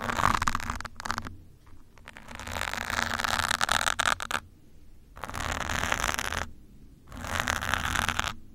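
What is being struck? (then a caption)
Foam microphone windscreen. A metal pin held in the fingers scratches over a soft, porous grey foam windscreen on top of a black microphone. It makes bursts of dense, bright, crackly scraping with a low rumbling undertone, separated by short near-silent pauses.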